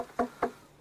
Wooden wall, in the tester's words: it's wooden it's not a rock